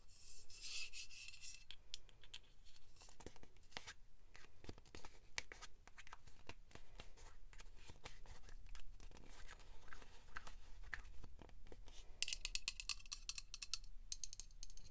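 Long acrylic nails tap and scratch the white printed body of a hand-sized Dove spray deodorant, a hollow aluminium aerosol can with a pink plastic cap. Quiet, rapid bright scratching alternates with sharp clicking taps over a steady low rumble, with denser bursts of scraping at the start and near the end.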